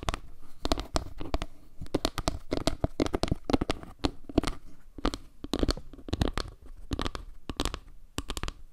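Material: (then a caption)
Wood. Long nails scratch along the edge and across the face of a solid, round wooden log-slice panel tilted near the microphone. The result is a dense run of short, dry scratching clicks with a low, woody body and bright crackly edges. Each stroke dies away at once with no ring.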